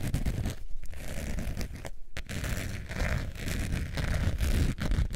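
Long nails scratch the textured surface of a long beige faux leather wallet with a metal zipper, held in both hands. The result is a steady, rough, deep scratching with a heavy low-end rumble and little brightness. It pauses briefly a couple of times before continuing.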